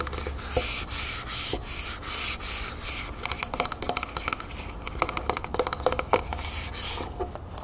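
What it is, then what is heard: Metal aerosol can scratched with nails. A medium, hollow, copper-colored Vaseline metal aerosol can is held in the hands and tilted while long nails rub and scratch along its side. The first half brings bright, hissy scraping swishes in waves; the second half turns into rapid, sharp clicking scratches with a faint metallic ring.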